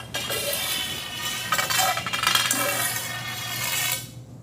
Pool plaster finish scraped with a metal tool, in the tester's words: You can hear it's the same thing as if you rub a uh a screwdriver on a kitchen tile floor. You can hear the disbonded tile.